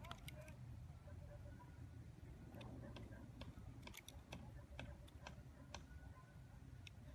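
A dark, hand-sized solid bar of soap with white and blue layers, held in the fingers outdoors over grass, is shaved and scraped with a metal utility-knife blade that carves curls off its surface. Short, crisp scraping ticks sound over a low, steady rumbling background.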